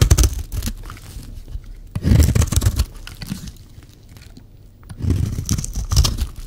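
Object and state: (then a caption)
Dry bar soap scraped with a blade. A metal blade scrapes along the face of a solid, dry yellow bar of soap, shaving off fine curls. Three bursts of dry, crunchy rasping are heard, with quieter scraping between them, and the sound is mostly low and dull with little brightness.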